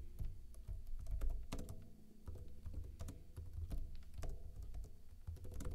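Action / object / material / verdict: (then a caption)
tap / plastic laptop keyboard / plastic / none. Rapid key taps on a backlit plastic laptop keyboard with hollow keycaps, typed with fingertips and short blue-painted nails. Short, dry clicks with a low, hollow thud beneath them follow one another in a quick, uneven typing rhythm, with brief bright ticks on the sharper strokes.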